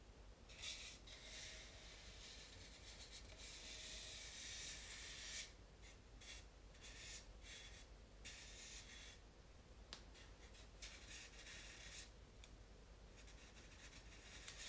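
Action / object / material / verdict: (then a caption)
scrape / polystyrene foam mannequin head / styrofoam / none. Fingertips with long painted nails rub and stroke across the nose, lips and face of a life-size, solid, lightweight white polystyrene foam mannequin head. The result is a steady series of dry, bright, scratchy rubbing strokes that swell and fade over a faint low hum, with a few sharper scrapes.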